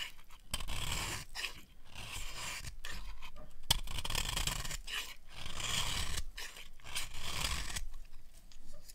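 A small metal blade scrapes and carves crumbly flakes off the edge of a solid rectangular bar of dry yellow soap with an embossed logo, held in one hand. Repeated dry, rasping scrapes come in bursts separated by brief pauses, with a bright, gritty texture over a low rumble.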